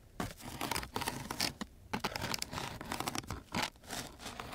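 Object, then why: Coarse sandpaper scratched with a wooden stick. The tip of a wooden popsicle-type stick is scratched across a coarse sheet of sandpaper. It makes a rapid series of short, dry, rasping scratches with bright, gritty high-frequency hiss. Brief quiet gaps fall between the bursts.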